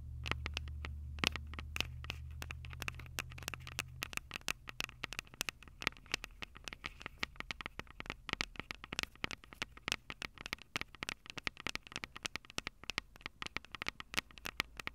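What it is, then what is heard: Handheld audio recorder tapped and scratched on its metal mic capsules. Long acrylic nails rapidly tap and scratch the metal-grilled microphone capsules of a Tascam DR-05 handheld recorder, a small, hollow plastic-bodied unit with a cable attached. Dozens of sharp, bright clicks and scratchy scrapes crowd together, each dying away almost instantly, over a faint low hum that fades after the first few seconds.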